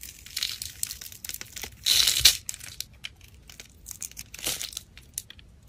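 A solid white-blue soap bar, carved in a grid pattern and held in the hand, is shaved by a black utility blade that cuts small sticks and cubes off it. Quiet, bright, crisp scrapes and crumbly crunches come in irregular bursts, with a louder sustained shaving stroke near the two-second mark.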